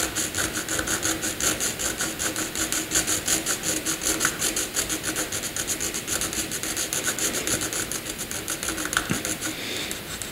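A pencil makes dense cross-hatching strokes on a flat sheet of white drawing paper. The result is a steady, rapid, somewhat irregular back-and-forth scratching that is bright and hissy with very little low end.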